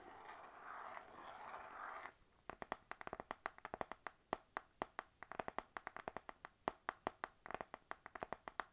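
An A5 panda-print spiral notebook with a glossy laminated cardboard cover and metal spiral is scratched for about two seconds, then tapped with long nails and fingertips. The quiet, dry taps come in a quick, uneven rhythm of about 41 sharp clicks with almost no ring, centered in the midrange with some bright edges.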